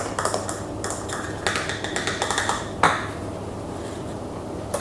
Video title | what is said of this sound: ASMR * Overnight Oats * Whisper, Tapping & Scratching * cooking * Fast Tapping * ASMRVilla | all plastic, like a high-pitched plastic